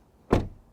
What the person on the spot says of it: Suono di porta chiusa dall'esterno (tonfo della porta)